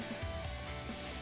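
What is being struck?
Nothing is struck.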